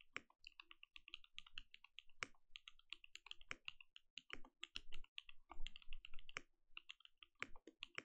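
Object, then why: Mechanical keyboard with plastic keycaps. Continuous typing with the fingertips of both hands on a compact mechanical keyboard with plastic keycaps. Quiet, rapid, irregular key clicks overlap with bright, short taps and a few deeper thocks, never settling into a steady rhythm.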